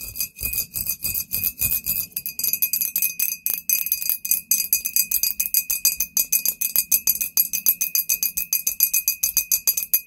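Long painted nails tap and lightly scratch a tall, clear, embossed glass "Poison" bottle that is hollow and appears empty. Dozens of quick, bright clicks come in a fast, uneven stream, each with a short, high glassy ring over a faint steady tone and almost no low end.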